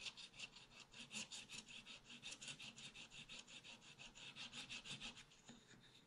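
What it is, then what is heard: Scratch-art paper pad. A wooden stylus scratches the black wax-coated surface of a spiral-bound scratch-art paper pad, held flat by one hand, in repeated strokes. About nineteen quick, slightly uneven raspy scrapes are heard, each a bright, hissy rub with almost no low end and no ring after each stroke.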